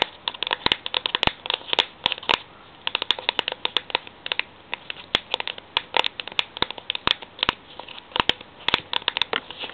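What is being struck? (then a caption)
Metal tin. Fingertips tap rapidly on a metal tin, making a dense, irregular run of short, bright clicks with light scratching between them. Each tap dies away almost at once, and there is almost no low end.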